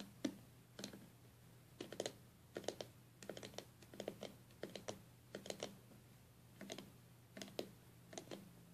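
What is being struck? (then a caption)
Stained glass box with leaded seams. Long fingernails of both hands tap and scratch the glass lid and leaded seams of a stained glass box. Quiet, sharp clicks come in irregular quick bursts with short scratchy runs, each hit dying away almost at once, over a faint steady low hum.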